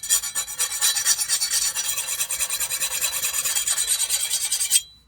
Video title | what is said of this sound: Making a Custom Chef's Knife WITHOUT fancy tools! | you can hear that high-pitched ping sound, which is good. I can already tell that this blade definitely got hard